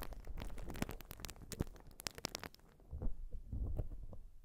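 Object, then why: Urethane foam sponge. Long nails scratch across a white urethane foam sponge, making quick, dry crackling scrapes with bright edges. After a short pause, the scratching turns softer and deeper into muffled rubbing and low thuds.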